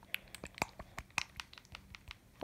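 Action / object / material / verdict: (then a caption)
shake / small bottle of liquid highlighter / liquid / none. A Temptu and Boxycharm liquid glow highlighter bottle is shaken, as it is meant to be, with an aerosol-like foamy liquid sloshing inside. About a dozen quick, bright clicks and splashy rattles sound in a steady rhythm. The sound is high-pitched, with little low end, and each one cuts off almost instantly.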